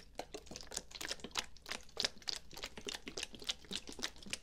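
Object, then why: Plastic bottle, likely holding liquid. Fingertips and nails tap and scratch the sides of a medium dark brown plastic bottle with a white cap, likely filled with liquid, held sideways. About two dozen quick, dry, bright clicks and scratches come at an irregular rapid pace, each stopping almost instantly, over a faint low hum.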